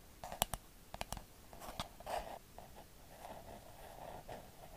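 A hand-sized, hollow pink plastic cloud-shaped night light with a face is held in both hands and tapped and scratched with long acrylic nails. Several sharp, bright clicks ring out in the first two seconds. A hollow mid-pitched scratching rasp follows and continues to the end.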